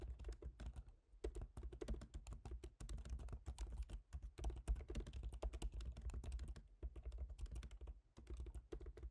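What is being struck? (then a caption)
Aluminium laptop keyboard with plastic keys. Fingertips type quickly on the plastic keys of a silver MacBook Pro's aluminium laptop keyboard, making a dense, continuous stream of short, soft taps with brief pauses. A steady low hum sits underneath the tapping.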